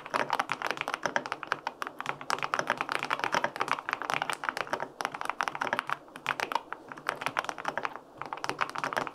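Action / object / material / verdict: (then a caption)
tap / mechanical keyboard, aluminum case with plastic keycaps / aluminum, plastic / none. Fingertips type steadily on the plastic keycaps of a white-pink full-aluminum 65% mechanical keyboard with linear switches. The result is a dense stream of short, crisp clacks centered in the upper mids with very little low end, pausing briefly a few times before resuming.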